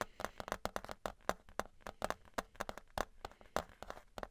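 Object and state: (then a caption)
Thin metal plate tapped with fingers. Fingers tap a thin embossed metal souvenir novelty license plate, held flat and then on its edge, producing a rapid, irregular run of quick, dry, clip-clop-like knocks. Each tap is short with almost no ring, centered in the low-mid range around 600 Hz, with a bright click on top.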